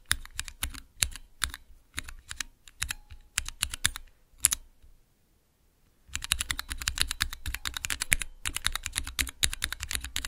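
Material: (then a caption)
Plastic. Fingertips rapidly press the keys of a small clear plastic Cherry MX key switch tester, producing quick, sharp, bright clacks with a soft low thump beneath each press. The bursts of pressing pause briefly near the middle, then resume in a denser, steady run.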